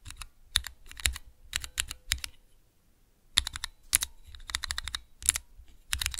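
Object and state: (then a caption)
Plastic key switch tester. Fingertips rapidly press the keys of a small clear plastic 3x3 key switch tester fitted with Cherry MX mechanical switches. Bursts of quick, bright clacks with almost no ring come in quick runs, with a short pause in the middle.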